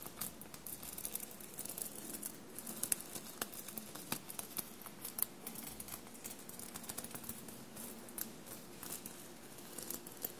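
Long blue-painted nails scratch and tap a bunched navy cotton shirt covered in small silver paillettes. Quiet, steady scratchy rustling is broken by many short, crisp, bright clicks that stop almost instantly, with a soft low hum underneath.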